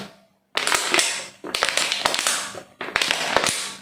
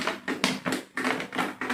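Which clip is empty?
The first.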